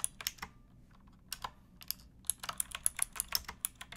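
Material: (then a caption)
Plastic. Fingertips with long nails type on a pink backlit mechanical keyboard with plastic keycaps resting on a wooden block. About nineteen quiet, sharp, bright clacks sound with almost no ring: a few scattered strokes, a brief lull, then a quicker burst of keystrokes.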